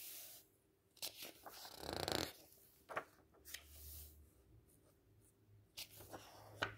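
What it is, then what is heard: Paperback book pages being handled. Fingertips and palms rub and smooth the thin paper pages of a large open paperback book resting on a table, lifting the page corners. Soft, bright papery swishes and crinkles rise out of a quiet background, with a longer, louder rustle near the middle and several sharper crisp flicks as the corners are lifted.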